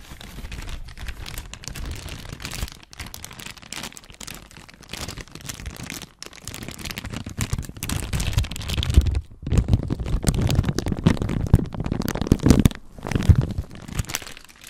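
A thin, clear, empty and flexible plastic bag is crumpled and squeezed by fingertips close to the microphone, giving a dense run of crinkling and crackling. The crinkles grow louder and fuller in the second half, with short quieter gaps between handfuls.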